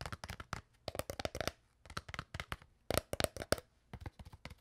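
An empty, crumpled, hollow clear PET water bottle is tapped and squeezed with long nails and fingertips. Five quick bursts of sharp, dry clicks and crackles each stop almost instantly, with a hollow plastic tone around 600 Hz and bright crinkly edges. The overall level is soft.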